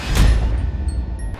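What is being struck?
Nothing is struck.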